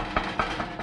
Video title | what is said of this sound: 2005 Chevy Corvette - V4.0 - Ep 58 - ZR1 Subframe Swap + Repair | we definitely have some you know metal adhesion between the two cracked pieces